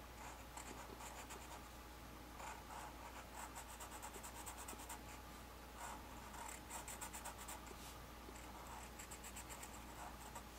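A black Sharpie felt-tip marker, held in the fingertips, draws and rubs across a flat white paper drawing page of Celtic knot designs resting on a table. The result is continuous soft, bright scratching and rubbing strokes that swell in short bursts over a quiet, steady low hum.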